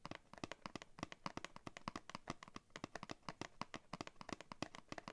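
Fingernails tap and scrape across the printed paperboard backing card of a cardboard blister pack, held in both hands. A quick, steady run of short, dry taps with crisp, bright edges and almost no ring, with soft scratchy scraping between them, stays quiet and close throughout.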